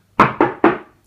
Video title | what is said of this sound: How to chose the correct DRILL BITS and WALL FIXINGS | you could just tap on that you can hear the difference